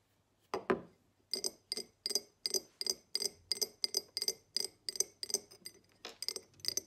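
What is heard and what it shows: A tall, empty, hollow diamond-pattern cut glass tumbler, lying on its side and then held tilted, is tapped and scratched with long acrylic nails. About twenty short, bright glassy clinks and scrapes follow in a steady rhythm, each dying away almost instantly with a high, glinting tone.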